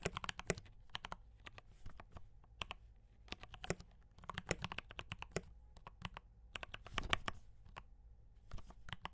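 Fingertips type on a D84 mechanical keyboard with brown switches and cream and red plastic keycaps. Bursts of short, sharp keystroke clacks come in quick runs with brief pauses, each tap bright with a dull low thump underneath. A faint steady low hum sits beneath the typing.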